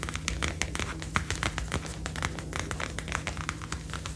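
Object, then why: Faux leather jacket sleeve. Long, dark-painted nails tap and scratch the upper arm and shoulder panel of a worn, brown faux (PU) leather jacket made of soft, thin material. The result is a rapid, continuous run of crisp, bright clicks and scratchy crinkles over a steady low hum.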